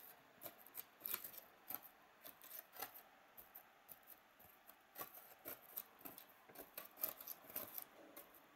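A thin pointed stick scores and scratches along the cells of a white, hollow, molded polystyrene foam packaging tray. Sixteen short, quiet scraping strokes are heard, with bright, squeaky high-pitched creaks over a dry, papery rasp. Each stroke dies away almost instantly, leaving a faint hiss between them.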